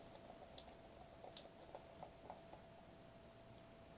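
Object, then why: Foil-laminated plastic bubble wrap sheet. Bare fingertips of both hands tap, press and rub across a thin sheet of metallic foil-laminated bubble wrap with hollow air bubbles, held upright against a table edge. Faint, soft irregular taps and crinkly rustles sit over a steady low hiss and a faint constant mid tone, with a few brighter crackling clicks.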